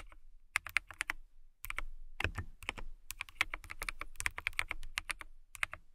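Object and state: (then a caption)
Clear plastic mechanical keyboard. Fingertips and long nails type on a clear plastic mechanical keyboard with transparent keycaps. The result is bursts of sharp, bright, clicky keystrokes, each dying away almost at once, with a clatter centered around 2 kHz and a light low thump. Brief pauses separate the bursts.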